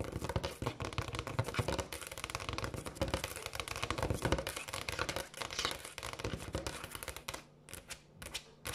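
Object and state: Granite countertop.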